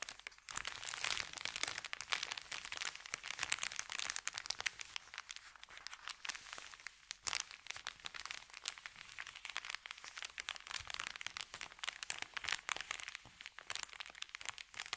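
Fingertips press and scratch a thin, empty, crumpled white Subway paper bag, producing dense, continuous crinkling and crunching. The sound is bright and high with almost no low end, made of rapid, dry, crackly bursts that die away instantly.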